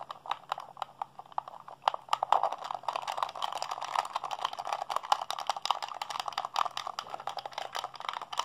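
Fingertips and thumbs rapidly mash the buttons of a hollow blue plastic PlayStation 3 handheld controller held in both hands. The result is a dense, continuous stream of short, dry plastic clicks and taps, centered in the midrange with a few bright ticks, with no ring after each press. A faint steady low hum runs underneath.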